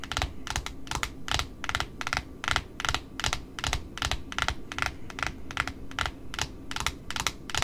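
Long pointed nails tap the flat cardboard face of a large white cardboard spool with pink satin ribbon wound on its edge. The taps come fast and slightly uneven, each a short, dry click with a bright crisp top and a soft low thump underneath, dying away almost instantly.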